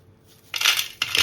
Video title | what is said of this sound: फणसाच्या हाट्यांचे लाडू आणि चिप्स | किती क्रिस्पी झालेत बघा कुरकुरीत आवाज येतो